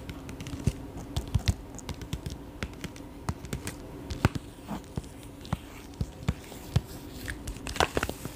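A small, flat, resealable holographic mylar foil plastic pouch, apparently empty, is held up close and tapped and crinkled with fingertips and short nails. Irregular sharp, dry clicks and taps pop out over a soft, continuous crinkling rustle, with no ring after each hit.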